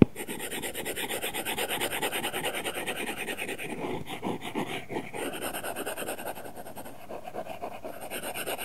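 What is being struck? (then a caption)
Glass tablet screen with matte plastic film, rubbed by a stylus. A stylus rubs rapidly across an iPad glass screen covered with a matte, paper-feel plastic film, producing a continuous rasping scratch. The sound comes in quick, even strokes with a bright, hissy texture that holds steady for the whole clip, dipping briefly around the middle before resuming.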